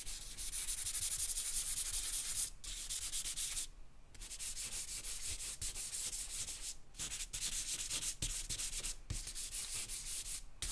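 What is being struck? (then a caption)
Charcoal on a paper drawing sheet. A hand sketches with a charcoal pencil or stick on a large white sheet of drawing paper lying flat on a marble table on a black board. The result is a steady, bright, dry scratching and rubbing, broken by a few brief pauses as the strokes stop and restart.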